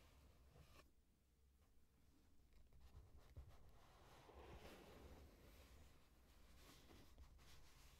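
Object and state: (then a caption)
Corrugated cardboard box being scratched. Long nails scratch and rub the front side of a medium, closed, hollow corrugated cardboard shipping box gripped in the hands. The result is a quiet, continuous scraping rustle with a low hollow rumble beneath it.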